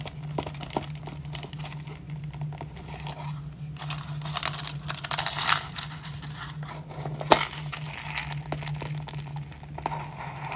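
Fingertips and short nails tap and scratch the lid of a small, hollow, pale-grey rigid cardboard jewellery gift box with a gold "hey happiness" print, held in the hand. The result is a steady run of dry, papery crinkles and scratchy swishes with bright edges over a low steady hum. Sharper taps stand out now and then, the loudest near the seven-second mark.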